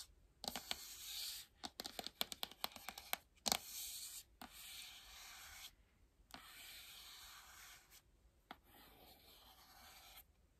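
Long nails rub and scratch along the spine edge of a lime-green cardboard album box held by its spine. The result is bright, papery scraping strokes, with long rubs broken up by a run of short, sharp scratches.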